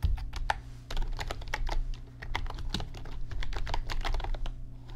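Fingertips type on an RGB backlit computer keyboard with plastic keys, producing a quick run of short, dry clicks and clacks that bunch into bursts and brief pauses. Each keystroke is crisp and dies away almost instantly, over a steady low hum underneath.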